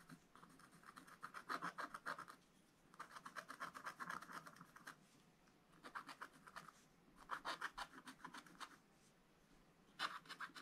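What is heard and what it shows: A wooden stylus held in the fingers scratches short strokes into a black-coated scratch-art card lying flat in a spiral book. Quick runs of dry, bright rasping strokes come in bursts, separated by brief quiet pauses.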